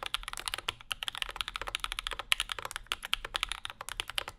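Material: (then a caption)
Aluminum, plastic. Fingertips of both hands type on a compact Bauer 2 mechanical keyboard with Zykos switches, an aluminum plate and plastic keycaps, with a wooden wrist rest in front. A rapid run of about 35 short, bright clacks is heard, each one dying away almost instantly with very little low end. The result is a steady, crisp typing patter.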